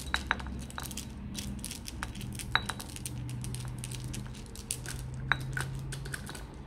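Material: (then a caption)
Glass. Fingertips tap and rub a flat, palm-sized blue glass nazar disc hanging on a wall, and the hand also handles and shakes the small glass evil-eye beads dangling on cords below it. Sharp, short glassy ticks ring near 1.6 kHz, with several louder clicks and brighter clinks from the beads. A steady low hum runs underneath throughout.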